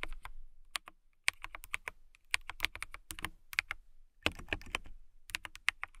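A clear plastic mechanical keyboard with transparent keycaps is typed on with fingertips and long nails, making bursts of sharp, bright clicks and clacks. The keystrokes come in quick irregular runs with brief pauses, each one short and dry with no ringing.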